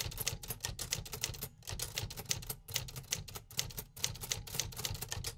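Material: Metal.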